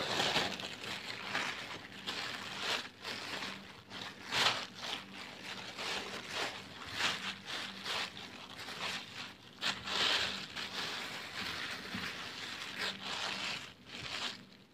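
A thin, empty brown plastic shopping bag is laid flat, then rolled up, while bare hands and fingertips crinkle and rub it. The result is a continuous, bright, papery crackling that swells and fades in uneven bursts over a faint steady low hum.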